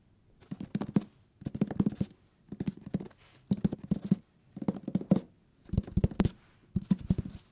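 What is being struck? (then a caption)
Hardcover paper book. Fingertips tap rapidly on the paper page edges and cover of a thick hardcover book, in seven separate bursts with short pauses between them. Each tap is a soft, dull, low thud with almost no ring, centered around 190 Hz.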